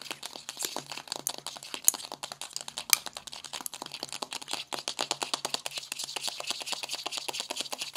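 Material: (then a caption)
Cardboard. Long green-painted nails rapidly tap and scratch the embossed cover of a flat pink paperboard Bad Habit Supernova eyeshadow palette lying closed on a white table. The result is a steady stream of dry, bright clicks and papery scratches with no low end and almost no ring, with two sharper, louder clicks near 2 and 3 seconds.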